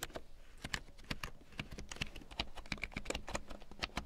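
A full-size large print keyboard with a black plastic frame and big yellow plastic keycaps, lying on faux fur, is typed on with long painted nails and fingertips. It gives a quick, irregular stream of short, dry plastic taps and clicks, with bright clacky tops over a soft low thud. Each tap dies almost instantly.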